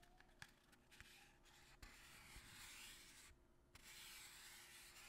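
A small, long, narrow cardboard box held in the hands has its surface rubbed and scratched with the fingertips and nails. The result is a quiet, bright, papery scratching and rubbing, broken by a few short, sharp scrapes.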